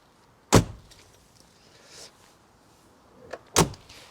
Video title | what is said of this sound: I bought a VAUXHALL CAVALIER mk2!!! | makes such a solid sound of the doors close as well